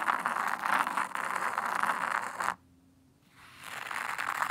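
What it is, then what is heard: Fine sand raked in a tray. A small wooden rake held in the fingers rakes patterns into fine white sand in a black hexagonal tray. A steady, gritty scraping hiss, centred in the mids, runs for about two and a half seconds, drops to near silence for under a second, then fades back in as the raking resumes.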